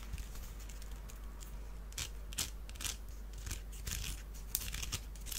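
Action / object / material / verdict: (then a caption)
scrape / small woven wicker basket / wicker / none. Fingernails scratch along the weave of a small, hollow, empty woven wicker duck basket held in the hands. The result is dry, bright, crackly scratching in short, uneven bursts with very little ring. A steady low hum runs underneath.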